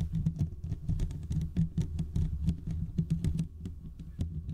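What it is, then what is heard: Metal mesh microphone grille being scratched. Fingertips and short nails of both hands scratch the hollow domed steel mesh grille of a large desktop condenser microphone. It makes a dense, rapid patter of scraping ticks over a heavy low rumble, with brief bright clicks on top. Each scratch dies away almost instantly.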